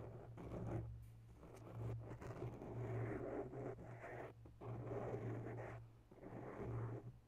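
Long bare nails slowly scratch the sides of a grey foam microphone windscreen up close, making soft, muffled rustling scrapes. The scratching swells and fades in waves over a steady low hum near 113 Hz, with little high-end sound.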